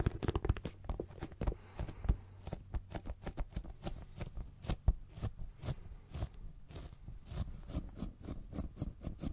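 Fingertips tap rapidly and unevenly on a hollow brown embossed leather zip pouch held beside the mic, producing a quick run of dull, low, thumping taps. Each tap dies away almost instantly, with faint bright clicky edges on top.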